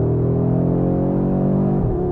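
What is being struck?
Nothing is struck.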